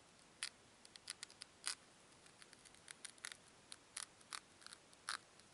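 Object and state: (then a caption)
Foam cubes rubbed together. Two small, solid white foam cubes are rubbed against each other by fingertips with long nails. The result is a quiet, irregular series of short, crisp, bright scratchy clicks and squeaks, with almost no low end and near-silence between bursts.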